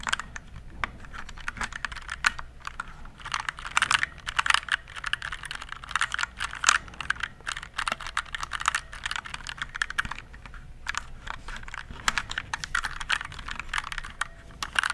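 Fingertips type steadily on a compact RGB plastic mechanical keyboard, producing a rapid, continuous stream of short, crisp clicks and clacks. Each keystroke is dry and bright, with a mid-high tone, little low end and almost no ring.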